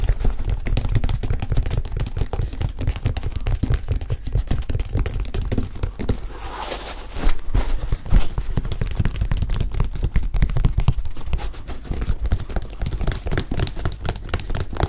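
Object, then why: Leather high-top sneaker with rubber sole. Fingertips and nails tap and scratch the leather upper and rubber sole of a single white leather high-top sneaker, which is held up hollow and empty. A dense run of quick, dull, low-pitched taps with short scratchy strokes continues throughout, with a brief, brighter scraping stretch near the middle.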